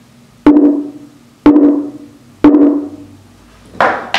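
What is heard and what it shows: The wooden top of a mandocello is tapped after its tone bars have been tuned, to check how responsive it is. Three evenly spaced taps each ring with a warm pitched tone around 290 Hz that decays over about a third of a second. Two brighter, sharper knocks follow near the end.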